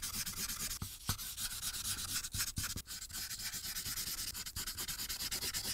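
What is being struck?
Marker tip on thin paper over a clipboard.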